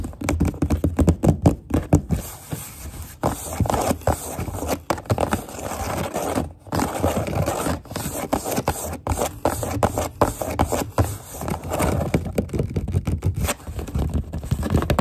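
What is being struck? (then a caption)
Corrugated cardboard box. Long nails scrape and tap along the printed side of a corrugated cardboard box wall. Quick, uneven bursts of dry scratching mix with dull, low taps that stop short. The sound fades into brief pauses before the next run of scurrying strokes.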